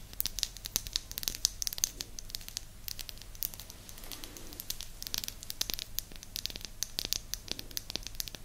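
Long nails scratch and tap across the surface of a small, flat, round, solid light-wood disc held beside an ear microphone. The result is a dense, bright, crackly stream of quick dry clicks and scratches with no ring, over a faint steady low hum.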